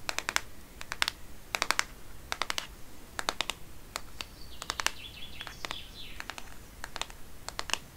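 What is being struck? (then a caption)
Plastic smartphone case. Long painted nails tap rapidly on the back of a black Microsoft smartphone in a textured plastic case, held in one hand. The sharp, clicky taps come in quick bursts of three to five, bright and dry with almost no ring. Faint, high chirps rise and fall in the background.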